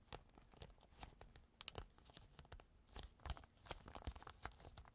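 A clear plastic zip bag on a table has its zipper pulled open and pressed shut with fingertips. Quiet, sharp crackling clicks and brief tearing crinkles come in irregular bursts, bright on top with a soft low thump beneath. Each sound stops almost instantly with no ring.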